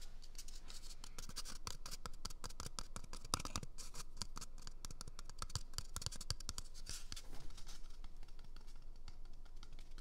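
A small, empty, hollow brown cardboard toilet paper tube is held near the microphone and scratched with fingernails. Dense, fast, irregular scratchy crackles and dry rasping clicks run steadily at a quiet level, with bright papery edges over a soft low rumble.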